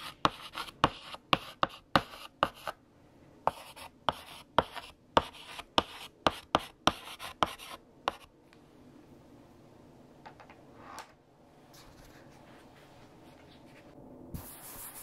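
A lavender chalk stick writes a sentence on a large flat black chalkboard, making a series of about 19 sharp, bright tapping and scratching strokes over the first eight seconds. The writing then stops, leaving a quiet stretch with faint soft sounds, a brief swish, and a brighter rustle at the very end.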